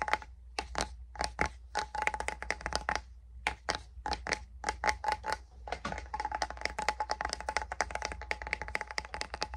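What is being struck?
Small metal salve tin.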